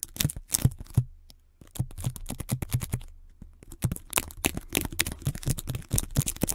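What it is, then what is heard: Adhesive tape wrapped on a microphone, scratched and tapped. Long glittery red nails and fingertips scratch, tap and press a band of white adhesive tape wound around a foam-topped microphone. Rapid crackly taps and sticky peeling sounds come through close and bass-heavy, with a brief quiet pause early on before the dense tapping resumes.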